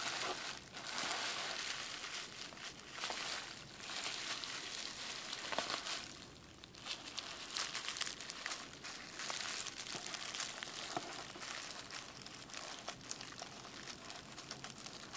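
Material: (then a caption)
Plastic. A clear plastic bubble wrap sheet lying on a desk is tapped with fingertips, then its bubbles are pinched and popped. The result is a steady, dense, bright crinkling with scattered sharp crackles and pops, easing briefly about midway before continuing.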